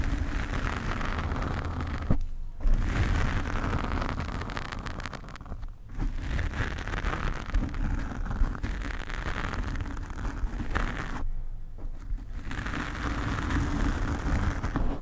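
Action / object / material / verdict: scrape / foam microphone windscreen / foam / none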